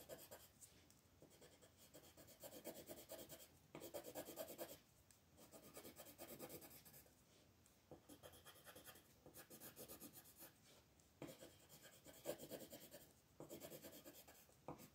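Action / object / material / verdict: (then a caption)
scrape / colored pencil on thin paper / paper / none. A lilac colored pencil rubs across a thin paper coloring sheet lying flat on a table in quick, short shading strokes. The sound is a dry, scratchy rasp that comes in bursts, with a mid-range body and a bright hiss on top. Brief quieter pauses fall between the stroke runs.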